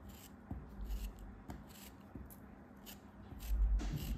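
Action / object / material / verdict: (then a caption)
scrape / kinetic sand block / sand / none. A solid orange-brown block of kinetic sand, held in the hand, is cut and scraped over and over with a craft knife. Soft, gritty slicing and scraping strokes repeat, with low, muffled thuds and a few sharper onsets, and the sound grows fuller toward the end.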